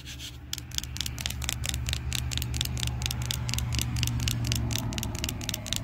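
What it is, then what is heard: Plastic-coated playground panel. Long pink and green acrylic nails and fingertips scratch and rub across a large, solid, flat red plastic-coated playground panel at a park, its surface heavily scuffed. Quick, bright, dry scratching strokes repeat about four times a second, unevenly spaced, over a steady low hum.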